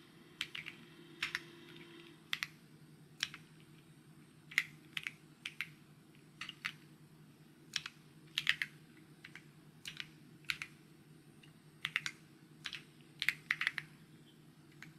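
Fingertips type and tap on a white mechanical keyboard with plastic keycaps. They produce short, bright, clicky keystrokes in irregular bursts and clusters, each dying away almost at once. A faint steady low hum sits underneath throughout.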